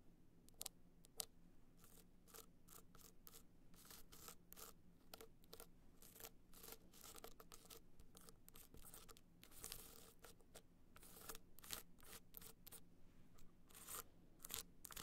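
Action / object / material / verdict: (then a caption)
scrape / hard-shell clutch studded with rhinestones / metal, rhinestones / none. Long nails scratch the studded side of a small, hollow, gold rhinestone-studded hard-shell clutch held at an angle. The result is a quiet run of quick, dry, bright scratching clicks and rasps that come in rapid bursts over a faint, steady low hum.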